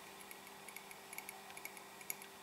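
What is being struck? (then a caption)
Ceramic mug. Light taps on a personalised Loose Women ceramic or porcelain mug make a quick series of quiet, bright clicks with a brief high ring and almost no low end. The mug gives quite a nice sound.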